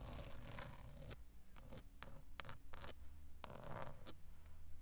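Long acrylic nail tips scratch and tap the textured black plastic centre pad of a VW steering wheel, a large hollow airbag cover. Dry rasping scrapes mix with short, sharp clicks over a steady low hum.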